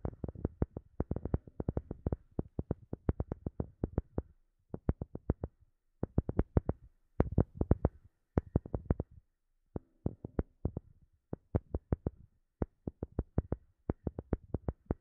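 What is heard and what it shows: Long fingernails tap rapidly on a palm-sized, solid-looking, round light-colored wooden disc with visible wood grain, held close up. The short, dry, low-toned knocks come in quick bursts separated by brief pauses, with almost no ring after each tap.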